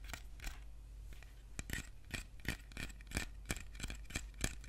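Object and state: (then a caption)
Metal food tin tapped and scratched with nails. Fingernails tap and scratch the red paper label and metal lid of a small, short, closed metal tin can of preserves that appears full, held in one hand. Quick, irregular clicks and brief scratchy strokes sound over a steady low hum, each tap dying away almost at once.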